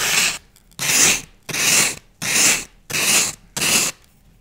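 A thin wooden skewer scratches and scores a dense grid pattern into the surface of a solid block of green floral foam held in one hand, using fast repeated strokes. Six separate bursts of bright, hissy scraping are heard, each about half a second long with short silences between them, and almost no low end.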